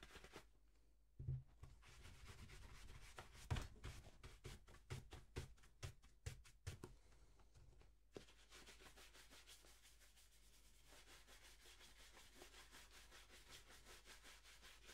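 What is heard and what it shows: A wooden-backed bristle shoe brush vigorously rubs a polished black leather dress shoe with a shoe tree inside, held on a table and then lifted off it. Brisk, dry bristle strokes with a hollow, low thump sound in the first eight seconds. They then settle into a steady, continuous brushing hiss.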